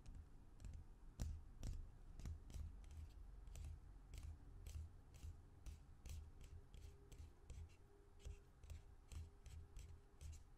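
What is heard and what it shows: Fingertips and nails tap and scratch along the sides of a small, hollow white plastic lotion or cuticle cream bottle with a white cap and a green-yellow label, held upright in both hands. Quiet, quick, irregular clicky taps with bright edges repeat roughly twice a second over a soft, low, steady rumble, with light scratching between them.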